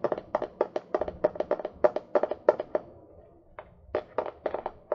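Fingernails tap and scratch on the cover of a small, solid hardcover book ("All my friends are dead") held upright near the mic. About two dozen quick, dry, hollow taps fall in uneven bursts, broken by a brief pause with faint scratching before the tapping picks up again.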